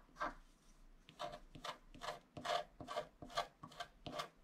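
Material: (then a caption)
Coated paper. A wooden stylus scratches a flat black-coated scratch-art card near its bottom edge while one hand steadies the card. About nine short, dry, raspy strokes come in a loose rhythm, each a bright scraping burst with a midrange edge. The strokes are quiet and close, with no ringing after each one.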